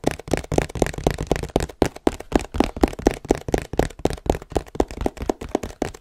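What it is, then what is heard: Hollow cardboard box. A long, hollow, printed cardboard tripod box is held above the mic and tapped with fingertips and nails. About two dozen quick, dry, hollow taps land in a loose, uneven rhythm, each with a low thump and a mid-pitched knock that dies away almost instantly.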